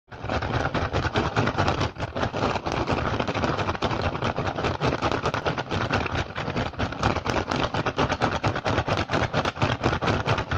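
A rattan basket is tapped and scratched fast and aggressively, giving a dense, continuous stream of rapid dry clicks and rasping scrapes. Each hit stops almost at once, with a low thump under a broad, bright crackle. The rhythm stays steady and busy throughout.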